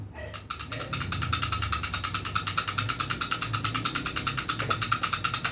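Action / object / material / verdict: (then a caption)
shake / airsoft pistol barrel, metal and polymer / metal, polymer / loose. A non-upgraded airsoft Glock pistol of metal and polymer is shaken, and its loose barrel rattles in a steady, rapid series of sharp, bright clicks with a ringing tone around 1.4 kHz. The wobble shows the barrel is loose because the pistol has not been upgraded.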